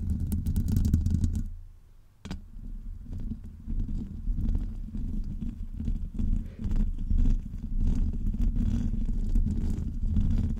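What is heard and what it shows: Both hands scratch the hollow woven metal mesh grille of a Blue Yeti-style USB microphone with long almond-shaped acrylic nails. The result is a dense, deep, rumbling rustle made of rapid, uneven scratches, with faint bright ticks on top. The scratching briefly drops away near two seconds, then resumes steadily to the end.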